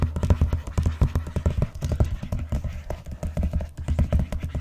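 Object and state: Vinyl-covered binder tapped with nails.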